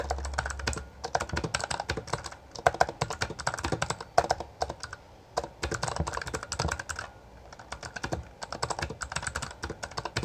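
Both hands type continuously with their fingertips on a full-size black plastic Bloody B820R mechanical gaming keyboard with backlit keycaps and a hollow housing. Rapid bursts of sharp, clacky keystrokes with bright clicks and a low thock each die away almost instantly. Brief pauses come around the fifth and seventh seconds before typing resumes.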